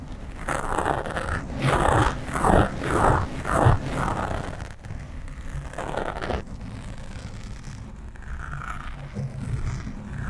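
Nails and fingertips of both hands scratch the sides of a black foam windscreen on a microphone, producing close, rough rustling over a deep, rumbling low end. Fast bursts of scratching swell and fade through the first few seconds, then settle into a quieter, steadier scraping with a brief louder flurry midway.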